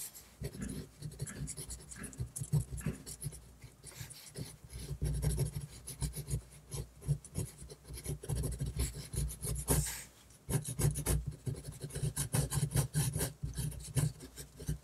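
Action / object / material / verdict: scrape / paper drawing sheet and metal pen nib / paper / none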